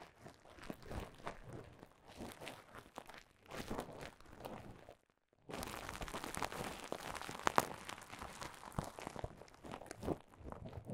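Clear plastic bubble wrap bunched into a mound is scratched with nails and squeezed with fingertips. The result is a quiet, dense stream of crisp crinkles and crunchy pops, with a brief silence midway before the crinkling resumes slightly louder.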